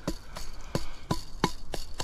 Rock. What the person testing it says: Mira, cuando golpeo estos lados, ese sonido